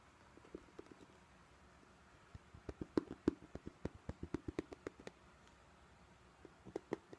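Long painted nails tap and scratch the front of a medium-size pink glossy vinyl/PVC Ted Baker tote bag with a bow, held up and hollow, apparently empty. About 16 short, dry taps are heard with a low hollow tone and almost no ring. A few scattered taps at the start give way to a quick, uneven run in the middle, then a last cluster near the end over soft scratching.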